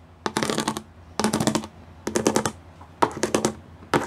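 Long nails and fingertips drum quickly across the studs of a gray plastic studded sheet. The sound comes in five short bursts of rapid, crisp clicking taps with a bright edge, separated by brief quiet pauses. Each tap is dry and stops almost instantly.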